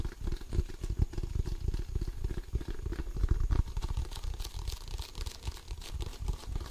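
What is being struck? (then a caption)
Inflated composite leather basketball. Fingertips scratch and tap the pebbled composite surface of an inflated, hollow composite leather basketball, up close. Rapid, dull, low thumps with almost no ring blend with soft, faint scratching across the textured surface.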